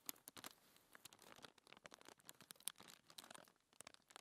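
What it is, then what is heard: Paper sheet scratched with nails. Long manicured fingernails scratch and rub across a flat, thin white paper sheet lying on a dark table, with ringed fingers resting on the paper. The result is a quiet, bright, dry run of crisp scratches and crinkly rustles, with many short sharp ticks and almost no low end.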